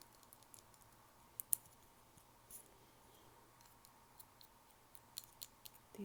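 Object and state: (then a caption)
Glass nail file tapped with fingernails. Long fake nails tap on a crystal glass nail file, making about fifteen quick, quiet, bright clicks. Each click stops sharply with no ring, over a faint steady low hum.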